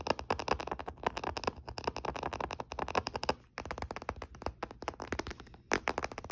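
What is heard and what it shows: A closed olive-grey plastic Nintendo DS Lite, a small hollow handheld game console resting on a blanket, is scratched and tapped along its front edge and DS logo area with short fingernails. Rapid, dry, crackly clicks and taps follow one another in dense bursts, with a brief pause partway through before the quick tapping resumes.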